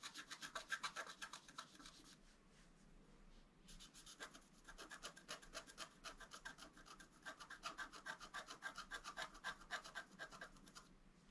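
A wooden stylus rubs and scratches across a flat, black-coated scratch art paper card, working on the antler. Quick, rhythmic dry strokes of about four per second have a bright, rasping edge. They run in two main bursts separated by a softer stretch of gentle rubbing.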